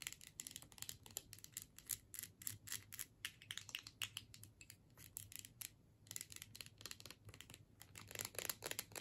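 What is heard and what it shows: Long nails tap and scratch on the label and metal screw lid of a filled plastic tube. Rapid, dry, bright clicks and scratchy strokes come in dense bursts, with a short pause near the middle, over a faint low hum. The bursts grow a little louder toward the end.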